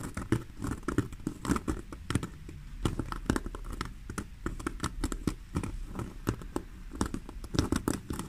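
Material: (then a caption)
Faux leather. Long fingernails scratch and tap the front panel of a black basket-weave faux leather handbag lying on a table. Rapid, dry clicks and short scraping strokes overlap in an uneven, continuous patter, with most of the sound in the low and middle range.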